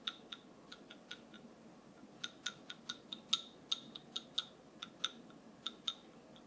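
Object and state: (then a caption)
Wooden massage tool. A wooden massage tool is tapped 18 times at an uneven pace, each tap a short, dry, bright click with a ringing tone around 3.7 kHz. The clicks die away almost instantly over a soft, steady background hiss.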